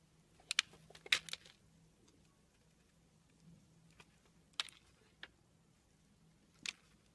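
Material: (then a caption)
Soap. A steel blade scrapes curls off a long solid red soap bar. Seven short, crisp, bright scraping bursts come at uneven intervals over a quiet background with a faint low hum.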